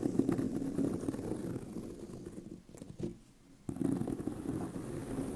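Both hands scratch the tan pebbled leather near the corner seam of a hollow handbag, making a dense, dry, muffled rasp centered in the low mids. The scratching fades into a near-silent pause around the middle, then resumes just as strongly and continues to the end.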